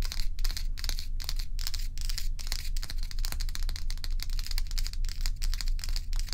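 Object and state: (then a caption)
Ice block scratched and tapped. Long pointed nails of both hands scratch and tap the frosted top of a large, solid, round ice block resting on a towel. Quick, bright, crisp scratches and clicks repeat in a loose, uneven rhythm of about two per second. A steady low hum sits underneath throughout.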